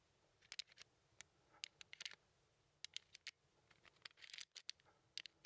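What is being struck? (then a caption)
Small plastic sliding tile puzzle. A small handheld plastic 15 sliding puzzle with red and white tiles is scratched and tapped by a fingertip. Quiet, sharp, bright clicks and short scratchy rasps come in irregular bursts, each dying away almost instantly, with a longer scraping flurry near the end.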